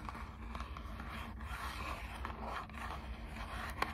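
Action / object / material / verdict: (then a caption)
scrape / small printed cardboard box / cardboard / none. Long acrylic nails scratch and tap the front of a small, hollow, printed cardboard box of Squishmallows trading cards. A steady, soft scratchy rasp runs over a low rumble, with one sharper tap near the end.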